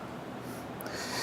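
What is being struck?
Nothing is struck.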